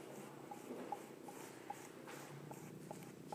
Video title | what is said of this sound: Carolyn Concho of Acoma Pueblo Live pottery making demo 8.21.2020 | the sound is interesting if you can hear that it's Hollow